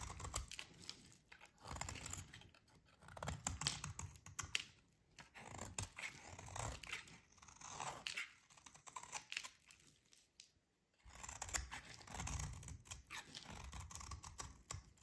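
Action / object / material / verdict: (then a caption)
scrape / soap bar scraped with a metal blade / soap / none. A solid, dry, green rectangular bar of soap is held in the hands while a metal utility blade shaves and scrapes along its edge. The result is bursts of crisp, dry scraping and crumbly crunching, bright and close, with low thumps as the bar is handled. There is a brief near-silent pause before the scraping resumes.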